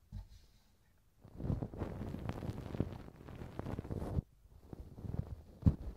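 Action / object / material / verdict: scrape / silicone ear model scraped with a thin wooden stick / silicone / none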